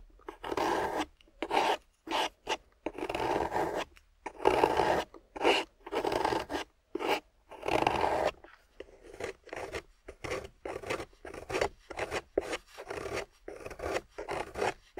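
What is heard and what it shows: A metal loop carving tool scrapes a solid, wet, water-soaked grey clay block, and shavings pile up as it cuts. A series of rasping scrape strokes is heard, longer and fuller in the first half, then shorter and quicker, with a mid-range texture and little low end. Each stroke stops dead with brief silences between them.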